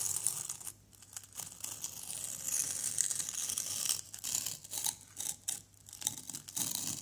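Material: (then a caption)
Plaster. A white plastic knife scrapes a small, solid orange plaster excavation block. The scraping is a bright, hissy, crumbly rasp that comes in irregular strokes with brief quiet gaps between bursts.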